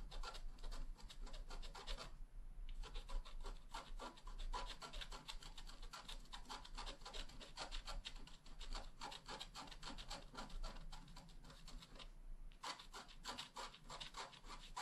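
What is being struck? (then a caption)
Wax-coated scratch art card scratched with a wooden stylus. A wooden stylus scratches dense grass strokes along the lower right of a flat black wax-coated scratch art card. Rapid, dry, raspy strokes run almost continuously, with two short pauses near 2 and 12 seconds, over a steady low hum.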